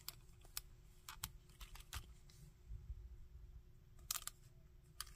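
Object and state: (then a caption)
Plastic action figure. A hard plastic Shocker action figure is held and articulated by hand, with fingertips tapping its body and moving its limbs so the joints click. About ten short, sharp, bright clicks and taps sound with no ring, over a quiet low rumble and a faint high hiss.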